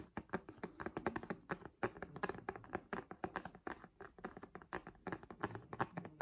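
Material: Synthetic leather.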